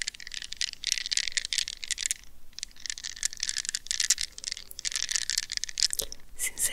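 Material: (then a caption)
Rubber. Long red-painted nails scratch and squeeze a palm-sized, solid gel-filled soft rubber stress ball wrapped in a plastic net mesh, held in both hands near the mic. Dense runs of bright, crackly scratching and quick ticking clicks come in bursts with brief pauses, almost all high in pitch with little low end.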